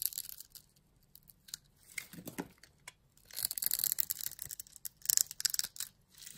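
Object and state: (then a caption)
Bar soap being cut. A utility blade cuts a grid pattern into the end of a solid pink bar of soap held in the hand, then shaves off small cubes. Crisp, bright scratching and crumbly scraping come in short bursts, with a quieter stretch before denser, louder cutting near the end.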